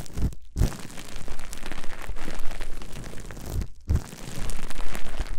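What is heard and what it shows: A long sheet of clear plastic bubble wrap is held in both hands and squeezed, twisted and rubbed together. It makes a dense, continuous crinkling and crackling with bright texture, broken by two brief silences, each followed by a soft low thump as the handling resumes.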